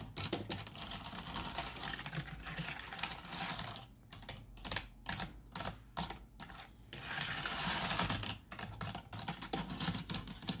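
Fingertips with long nails type and tap on the keys of a black plastic full-size computer keyboard with a hollow housing, resting on a wooden desk. Quick, irregular clicks and clacks come in dense bursts with short pauses, and bright, crisp clatter dies away quickly after each stroke.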